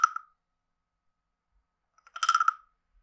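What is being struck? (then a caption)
Carved wooden frog guiro. A wooden stick is scraped across the ridged back of a hand-sized, hollow, carved wooden frog guiro, producing a woody croak. There is a short croak at the start, then after a long silence a longer, rattling croak of quick clicks with a hollow tone around 1.3 kHz and bright overtones.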